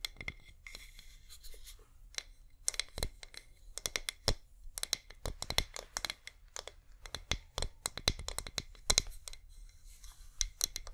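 A flameless LED wax pillar candle, its flicker light switched on, is scratched and tapped with long nails. Dry, bright scratching mixes with many short, sharp taps that cut off almost at once, some sounding with a faint low thud. The taps come in quick bursts over a soft, steady hiss.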